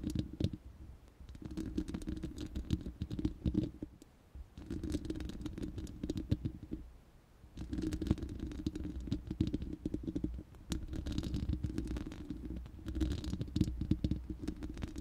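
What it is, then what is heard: Metal microphone grille scratched and tapped. Long nails scratch and tap the bare, hollow, round steel mesh grille of a studio microphone. The result is dense, rustling scratches and soft rapid taps with a deep, boomy low end. They come in bursts separated by brief quiet pauses.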